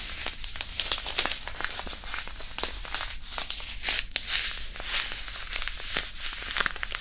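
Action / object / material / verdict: scrape / disposable hand warmer, fabric pouch filled with iron powder / fabric, iron powder / none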